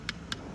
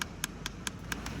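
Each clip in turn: First: solid cow hoof sole. Second: hollow cow hoof claw with a void underneath.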